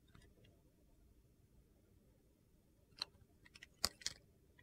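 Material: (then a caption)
Soap. A hand-held solid, faceted red-and-black bar of soap with gold glitter is shaved with a metal utility knife blade, revealing a white core. Faint, quiet scraping gives way to three sharp, bright clicks near the end, with a few lighter ticks between them.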